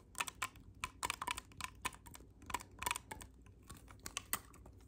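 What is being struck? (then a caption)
Clarinet with metal keys. Fingertips press and click the silver metal keys on a hollow black clarinet section. The result is an irregular series of short, sharp, bright clicks, quiet overall and centered around 2.6 kHz, with a faint low background rumble between them.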